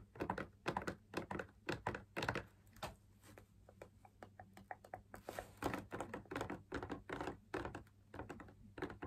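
Fingers tap the outer rim and wall of a hollow, perforated, fabric-laminated drum lamp shade held up in the air. The result is a quick, irregular run of short, dry taps and soft thunks with almost no ring, bunched in clusters with a few quieter, lighter taps in the middle.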